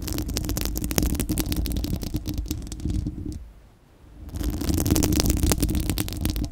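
Long acrylic nails scratch and tap across a bare, round steel-mesh microphone grille with a hollow dome. This makes a dense, rapid, uneven stream of crackly scrapes and clicks with a heavy low rumble around 195 Hz and sharp, short transients. The sound fades to near silence for about a second midway, then resumes at full strength.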